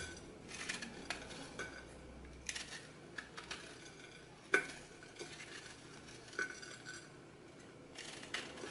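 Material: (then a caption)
Floral foam. A small blade cuts and scrapes crumbly slices from the edge of a hand-held rectangular floral foam block coated with a painted purple-blue starch layer, over a glass bowl. Soft, bright crunching and scratchy rasps are broken by sharp clicks and crackles as pieces snap off and fall, with one louder crunch near the middle.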